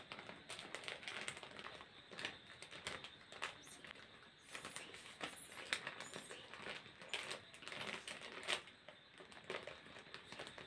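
A small, thin, flexible printed plastic snack packet is held in both hands and crinkled and scratched with the fingertips. The result is a quiet, dense run of bright, crackly crinkles and scratchy bursts with almost no low end, each burst dying away almost instantly.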